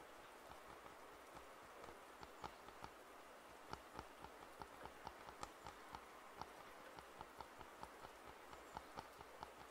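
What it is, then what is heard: Plastic over-ear headphones. Fingertips tap and scratch the hollow earcups of white and black plastic over-ear headphones held in both hands. About 16 light, short, dry clicks with bright tops stand out over a steady, soft, broadband hiss.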